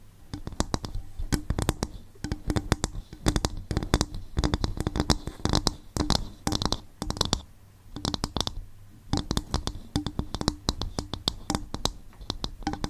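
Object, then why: Coconut shell bowl. Tapping and scratching on a bowl made from coconut shell produce rapid, dry, clicky hits with short bursts of scratching. The sounds come in dense clusters with brief pauses near 7.5 and 9 seconds. Each hit dies away almost instantly, with a low body under bright clicks.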